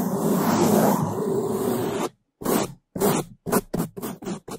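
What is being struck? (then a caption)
Foam microphone windscreen scrubbed with bristle brushes. Bamboo toothbrushes held in gloved hands scrub the top and left side of a black foam microphone windscreen, making fast, loud bristle scratching. A continuous rough scrub lasts about two seconds, followed by a brief silence and then several short, separate brushing bursts.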